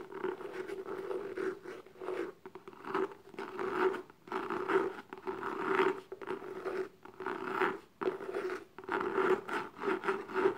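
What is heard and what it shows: Long pink-painted nails and fingertips scratch and tap the lid of a small, closed, hollow black gift box with an embossed, textured paper-covered cardboard surface and a gold logo. Bursts of dry, rasping scratching come and go in uneven waves, carried over a steady, hollow midrange tone from the box. Light taps dot the scratching, with little low end and no ringing tail.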